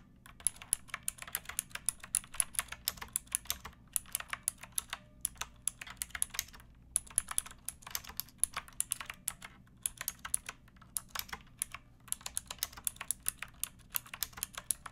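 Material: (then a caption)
Plastic. Long painted fingernails type steadily on a pink backlit mechanical keyboard with plastic keycaps and a plastic case, resting on a wooden block. Continuous, fast, bright plastic clacks and taps with very short decay ring out over a faint low hum, pausing briefly now and then.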